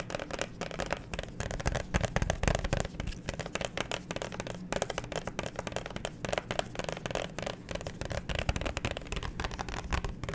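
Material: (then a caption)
Plastic. Long nails and fingertips rapidly tap and scratch a thin, hollow, handheld clear plastic phone case with a black grip disc on the back, held close to the mic. The result is a dense stream of quick, dry clicks and crackly scrapes with a full, hollow low end and short bright edges that die away almost instantly.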